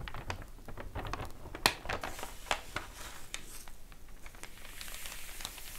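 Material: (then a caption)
Paper. An open glossy paper store flyer lies flat on a table; a page is flipped with a crisp crinkle, then long nails on both hands tap and scratch across the paper. The result is a quiet, irregular run of sharp, bright clicks and dry scratching with a faint low rumble underneath.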